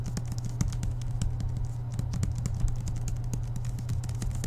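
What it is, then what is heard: Book (tapping). A book with paper pages and a cardboard cover is tapped quickly with the fingertips, giving a rapid run of light, dry, keyboard-like taps with very short decay. A steady low hum sits underneath the whole time.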